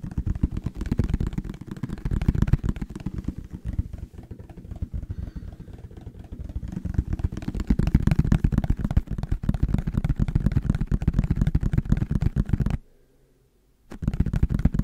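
A medium-sized, hollow yellow plastic bottle with a white cap and label is held in the hands and tapped and scratched with fingertips and nails. The result is a dense, rapid stream of dull, low hollow taps and scratches that swells and eases in loudness. It stops briefly near the end before resuming.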